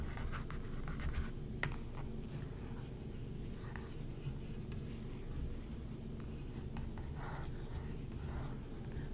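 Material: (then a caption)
Paper. A thin wooden stick traces and scratches across the printed page of an open glossy paper magazine spread lying flat, while the other hand rests on the paper. The result is a quiet, steady scratching and rubbing sound with soft brief strokes over a low, muffled background.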